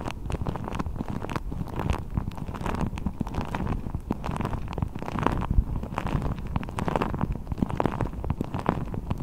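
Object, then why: Rubber ball. A blue deflated rubber ball with a thin hollow skin is wrapped over the microphone and squeezed and crinkled with fingertips. It makes a continuous, muffled, low rumbling full of dense soft crackles and scratches, with almost nothing bright on top.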